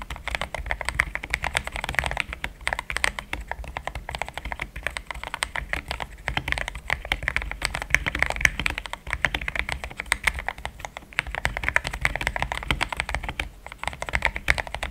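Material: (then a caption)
Plastic. Fingertips of both hands type steadily for about 15 seconds on a compact pink-and-cream plastic mechanical keyboard with thick XDA-profile keycaps, Gateron Yellow switches and a polycarbonate plate, sitting on a desk mat. A dense, continuous stream of short, crisp clacks centers around 1.7 kHz with bright upper detail and a soft low thump under each stroke. Each keystroke dies away almost instantly.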